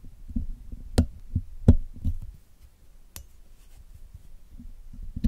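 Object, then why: Wire mesh microphone grille. The tip of a steel dental pick scrapes and picks at the black hollow wire-mesh grille of a Blue Yeti microphone while cleaning it, as the other hand steadies the mic. Deep, muffled thumps and rubbing come through close-up, punctuated by a few sharp clicks with brief bright tails, before settling into quieter low scraping.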